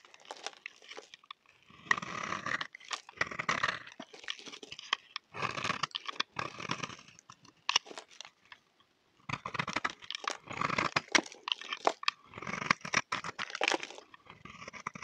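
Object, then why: Bar of soap shaved with a knife blade. A solid, dry black oval bar of soap, held in the hand, is shaved with a utility knife blade, and dark flakes fall away. Bursts of dry, crisp scraping and crunching come in quick repeated strokes, bright and close, with short pauses between them.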